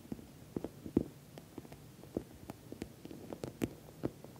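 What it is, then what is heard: Patent vinyl cosmetic bag. An orange glossy patent vinyl cosmetic pouch is tapped and scratched along its top edge and sides by long nails. The result is a quiet series of short, dull taps with a low-mid tone and faint scratchy rustling between them. The taps die away almost instantly.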